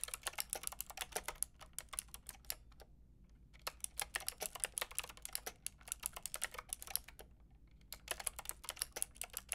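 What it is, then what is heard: Plastic mechanical keyboard being typed on. Long painted nails and fingertips type on a white-and-pink Lofree mechanical keyboard with round plastic typewriter-style keycaps and a hollow plastic case. Rapid runs of bright, sharp plastic clacks are heard, each dying away almost at once. They come in bursts separated by two short pauses, over a faint low steady hum.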